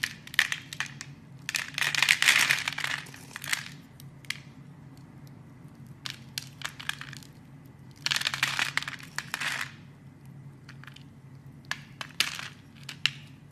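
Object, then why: Bar of soap cut with a metal blade. A metal blade carves and scrapes grid-cut cubes and slices from a solid, hand-sized, light blue bar of soap held in the hand, and the pieces crumble onto a cloth. Bright, crisp crunching comes in dense bursts around 2 and 8–9.5 seconds, with scattered sharp clicks between them. A faint, steady low hum runs underneath.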